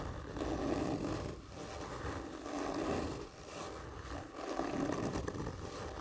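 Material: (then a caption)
Cardboard. Fingernails of both hands scratch slowly and hard across a large, hollow, black printed cardboard whisky gift tube lying horizontally. Long, rough scraping strokes swell and fade in turn, each carrying a hollow, boxy resonance from the tube.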